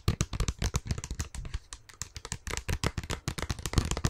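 Long fingernails tap rapidly on a small clear plastic tub with a printed label, full of green slime and held in one hand. The result is a quick, uneven run of short, dry clicky taps, each with a dull low thud beneath a bright crackle, dying away instantly with no ring.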